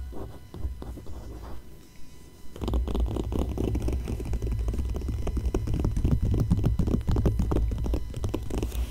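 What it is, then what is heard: Glossy paper magazine page being scratched. A long fingernail traces and scratches across an open ad page of a glossy paper magazine, giving soft, sparse scratches for the first two and a half seconds. Fingers then rub the page, producing a louder, dense, continuous rasping rub over a deep low rumble until the end.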